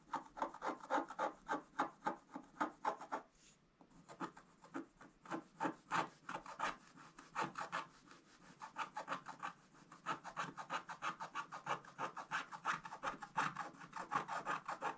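A wooden stylus scratches long strokes across a flat, thin scratch-art page with a black coating over gold foil. Quick, dry rasping strokes repeat about three times a second with a midrange tone, pausing briefly just after three seconds before continuing steadily.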